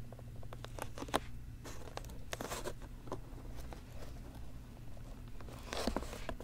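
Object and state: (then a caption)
Plastic food container lid. A square translucent blue plastic lid snapped onto a clear plastic food container lying flat on a teal towel is scratched and tapped by fingertips and nails. Quiet, dry scratching and short sharp taps, with the brightest clicks near the 1- and 6-second marks, play over a steady low hum.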